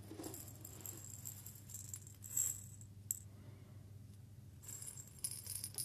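A small clear glass jar with a little loose seed inside is held in both hands, tilted and shaken so the seeds rattle against the glass. The sound is a quiet, bright, dry patter of tiny ticks in uneven bursts, with a few sharper clicks and a steady low hum underneath. It grows busier and brighter toward the end.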